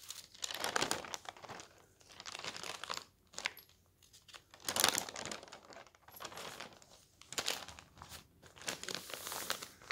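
Fingers crumple the folded corner of a paper newspaper lying on a table, then a palm smooths and rubs the open sheet. Soft, bright crinkling and rustling come in uneven bursts that swell and fade, with brief quiet gaps between them.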